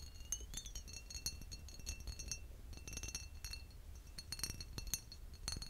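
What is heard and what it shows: A green embossed glass bottle, held upright, is tapped with fingertips and short nails. Quick, light glassy clinks and taps ring at a high pitch and fade almost at once, over a steady low hum.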